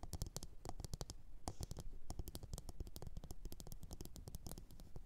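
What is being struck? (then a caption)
Upside-down ceramic bowl. Long orange nails tap and scratch the base and sides of a medium glossy blue ceramic bowl, hollow and empty, resting upside down on a fur mat. A steady, dense patter of quick, dull taps carries mostly low, hollow body, with short bright clicks and scratchy rasps between them. Each hit dies away almost instantly.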